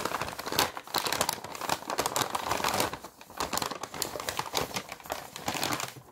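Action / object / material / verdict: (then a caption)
scrape / thin paper sheet / paper / none. A thin sheet of white paper, possibly a paper bag, is crumpled and crinkled between the fingertips of both hands, held up close. It makes a dense, bright crackling of quick, dry crinkles with little low end, dipping briefly around the middle before building again.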